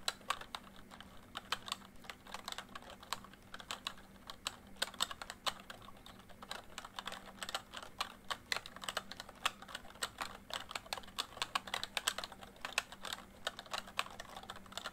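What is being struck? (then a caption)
Plastic membrane keyboard. Fingertips type quickly on a full-size plastic MSI backlit membrane keyboard, making a rapid, steady run of short, bright plastic taps and clacks that stop almost instantly. A faint low hum runs underneath throughout.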